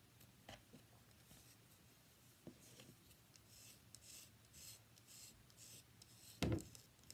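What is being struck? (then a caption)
Bar of soap. Long fingernails scratch and tap a solid, palm-sized, cream-white rectangular bar of soap held up in the hand. Quiet bursts of bright, papery scratching alternate with soft, dull taps, and one louder, fuller tap lands near the end.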